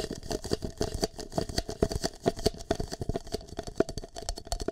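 An empty green plastic cup is held over a microphone's ear while fingertips and nails tap and scratch its surface. The result is a fast, uneven run of short, dry, hollow taps with a cupped mid-range resonance, mixed with faint bright scratching between them.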